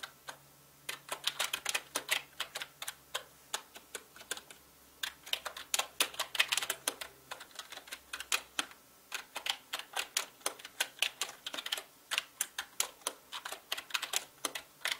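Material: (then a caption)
Plastic. Fast fingertip typing on a full-size black mechanical gaming keyboard with plastic keycaps and a hollow body produces dense bursts of sharp, bright clicks and clacks. The keystrokes come in quick runs separated by brief pauses, each click dying away almost instantly.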